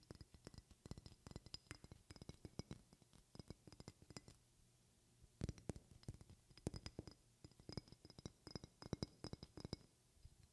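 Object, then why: Glass perfume bottle. Long red-painted fingernails tap a medium, partly filled glass perfume bottle with a silver cap held in one hand. Quick bursts of short, dry clicks mix hard and soft taps, each with a bright glassy tick and a soft low knock that dies away almost instantly. There is a brief pause just before the middle of the clip, after which the tapping resumes a little louder.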